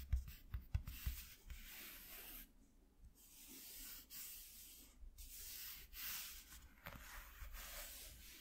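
Fingertips and short nails scratch and rub across a flat white piece of corrugated cardboard from a shoe box, resting on black cloth. A few soft, low taps open the clip, then give way to steady, dry, bright scraping and rubbing that swells and fades in uneven strokes. The whole sound stays quiet and close.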